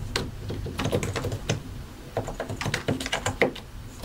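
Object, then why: Plastic mechanical keyboard. Both hands type continuously with their fingertips on a solid white and grey plastic mechanical keyboard, pressing and tapping the keycaps over the switches. The result is a steady run of short, dry clacks with a low, thocky body, brighter click edges, and almost no ring after each keystroke.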